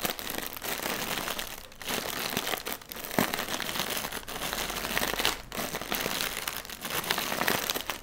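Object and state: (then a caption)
Plastic air pillow packaging. A single inflated, hollow plastic air pillow used as packaging is held in both hands while fingertips tap and scratch its film. The result is a dense, bright crinkling and scratching texture with quick crackly taps, broken by a few brief quieter pauses.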